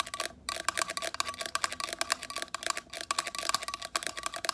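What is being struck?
Small hard plastic device.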